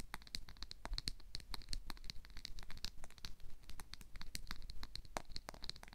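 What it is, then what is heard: Plastic comb. Fingertips strum and flick the teeth of a black plastic wide-tooth comb held up in the air. The result is a rapid, uneven run of short, dry, bright ticks and snaps, each dying away almost instantly, over a faint low rumble.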